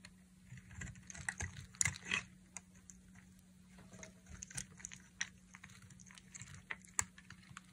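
A solid, dry pink bar soap held in the hand is sliced and shaved with a utility knife blade. It makes quiet, crisp, bright scraping and snapping cuts at an irregular pace, each dying away almost instantly. A faint steady low hum sits underneath.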